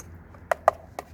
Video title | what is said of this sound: VanVan Waffle - plans for 2025 | that's plastic I guess it's just covers